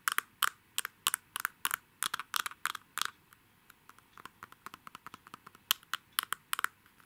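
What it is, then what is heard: Gold-coated glass perfume bottle. A palm-sized, hollow, faceted gem-shaped Lady Million perfume bottle of glass with a shiny gold metallic coating, contents not visible, is held in both hands and tapped and scratched with fingernails on its faceted surfaces. The result is a quick series of sharp, bright clicks centered around 1.4 kHz, with almost no ring, loud through the first three seconds, then softer, lighter scratchy ticks before a few louder taps return near the end.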